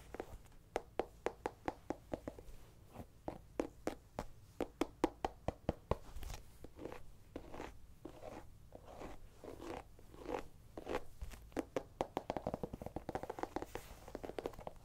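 Long painted nails tap and scratch on a small, whole, hollow orange pumpkin held in the hand. A rapid series of quick, dry, quiet taps with a short hollow low-mid resonance is followed by softer, rougher scratching mixed with more taps toward the end.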